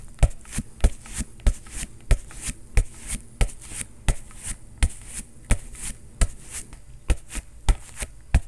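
A bare fist pounds an inflated, hollow synthetic leather soccer ball that is being held, landing about 18 quick knocks in an uneven rhythm of stronger and lighter blows. Each knock is a deep, dull thud that dies away almost instantly, with a faint bright scuff on top.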